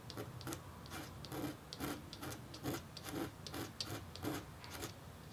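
A red-handled metal engraving stylus scratches fine lines into a flat, thin, solid black-coated copper-foil scratch-art board that is partly covered by white paper, with a hand resting on the paper. The result is a quiet run of short, bright, raspy scraping strokes, about two per second at an uneven rhythm, each fading quickly.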